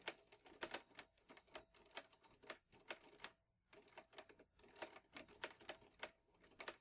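Fingertips type steadily on the keys of a vintage teal metal Underwood Olivetti Lettera 22 portable typewriter with paper loaded. About thirty-two sharp, bright clacks sound in quick succession, with a brief pause midway.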